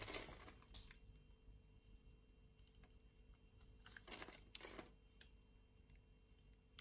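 A utility-knife blade scrapes across a solid orange translucent soap bar with a grid-scored surface, flaking off tiny cubes. Soft, bright, crackly scrapes and crunches come in short bursts, with louder ones at the start and near the end. A faint steady low hum sits underneath throughout.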